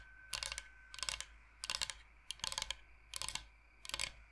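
Fingernails tap quickly on a large, flat, solid bamboo cutting board shaped like Michigan, held up close. Six short bursts of rapid, bright, clicky taps come in a loose rhythm, each with only a brief ring and a quiet pause between.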